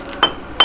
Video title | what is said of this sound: [군인본분] EP.6 지상전의 종결자! 육군 전차 소대장 편🫡- 대한민국 국방부 | 망치로 때려서 소리가 맑으면 정상적으로 잘 조여져 있는 거고